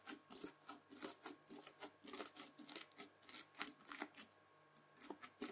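A white plastic fork presses and scratches the crunchy bead surface of a red, bead-filled floam slime pad. The result is a quick run of crisp, bright crackling bursts with almost no low end, a brief quiet pause near the end, and then a few more crunches.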